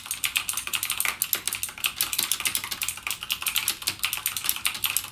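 Fingertips type continuously on a backlit mechanical gaming keyboard with plastic keycaps and clicky Cherry MX Blue switches. A steady, rapid stream of sharp, bright clacks is heard, with almost no low end and each keystroke dying away quickly.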